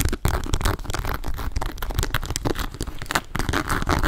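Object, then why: Embossed leather and calf-hair shoulder bag. Long nails scratch and tap a hollow grey embossed leather and leopard calf-hair shoulder bag. The result is a dense, steady run of dry scratching, crinkly rustling and quick soft taps, with most of the weight in the low end and little brightness.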